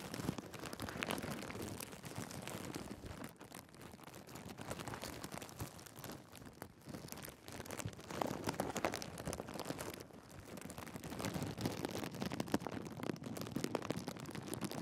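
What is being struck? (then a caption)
Thin clear plastic bag. A thin, clear plastic bag wrapped around a Sony A7s camera body is scrunched and crinkled with the fingertips of both hands. It makes a dense, continuous crackling and rustling that spreads from low to bright tones. The noise eases briefly around 3.5 and 7 seconds and swells louder again in the later bursts.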